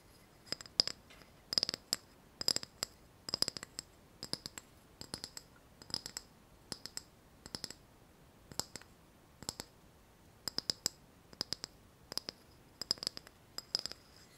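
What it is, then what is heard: Ceramic saucer. A small ceramic saucer, held in both hands, is tapped on its underside with long fingernails. Quick, bright clicking taps come in short clustered bursts with short pauses between them, and each tap dies away almost at once with a high, glassy ring.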